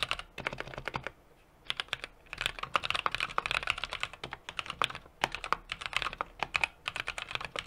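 A small 60% mechanical keyboard with an aluminum case, brass plate and plastic keycaps is typed on rapidly with the fingertips of both hands. Quick, bright, clicky key taps come in uneven bursts, with a brief pause near the start, and each tap dies away almost instantly.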